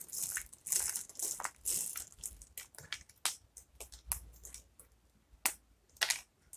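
Fingertips and palms press, crush and rub through a pile of small, brittle pieces of broken dry soap in blue, white and green, resting on a wooden table. Bright, dry crunching and crackling come in quick, uneven bursts, some long and grinding, others sharp and short. The sound is mostly high with almost no low end and dies off immediately.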